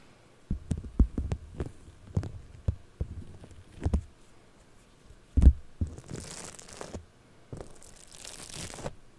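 Purple polystyrene-bead floam wrapped around a microphone is picked and scratched with nails and fingertips. The result is irregular, muffled low thumps and soft crackling pops, followed by two longer stretches of brighter, hissy scratching.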